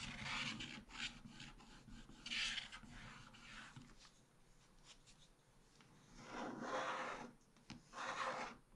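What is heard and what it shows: A wooden stylus is drawn in repeated strokes across a black-coated scratch-art card page in a small spiral book. The result is dry, bright, raspy scratching in bursts of varying length, with a quieter stretch in the middle and louder strokes toward the end.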